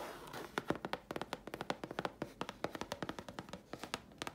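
A thin, flat grey chipboard sheet held in the hands is scratched and tapped with long fingernails. A soft, raspy scratch at the start gives way to a quick, uneven run of about 28 short, dry, hollow-sounding taps with bright clicky edges. Each tap dies away almost instantly.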